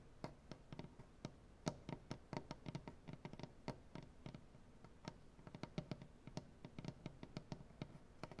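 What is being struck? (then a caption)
Wooden butcher-block tabletop. Both hands with painted nails scratch and tap the surface of a solid light-wood butcher-block tabletop. The result is a quiet, irregular stream of sharp, dry taps with very short ring, each a low woody thump topped by a bright nail click, over a soft scratching rustle.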